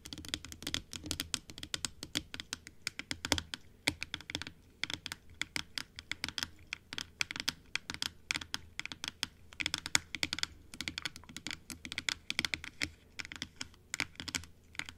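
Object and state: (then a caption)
Plastic dental teeth model. Long light-blue acrylic nails tap on the white plastic teeth and top rim of a large hollow plastic dental model with pink gums and a light blue base, held upright. Rapid, irregular clicks fill the clip, each sharp and bright with almost no ring, over a faint low hum.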